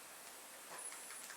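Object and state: Nothing is struck.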